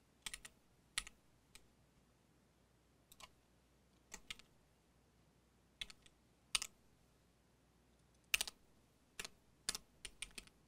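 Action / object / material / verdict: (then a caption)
tap / mechanical keyboard with plastic keycaps / plastic / none. Both hands type with their fingertips on a compact mechanical keyboard with cream and dark plastic keycaps on a solid case, while the mouse sits idle. Quick, bright, clacky key taps come in loose bursts with short pauses in between, each one dying away almost instantly over a very quiet background.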